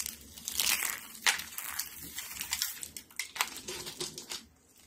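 A thin stack of dry yellow soap sheets is bent and snapped with fingertips and pink nails over a foil tray of soap flakes. A rapid series of crisp, bright crackles and dry crunching snaps comes with almost no low end, each break dying away quickly.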